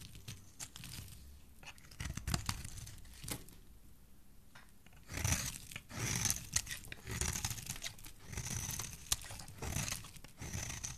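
A solid teal bar of soap held in a hand by fingers with black nails is scraped with a metal blade. Quiet, dry crunchy scrapes and crumbly tearing sounds come in short bursts with brief pauses, bright and crisp on top with a soft low thud beneath, ending abruptly with no ring.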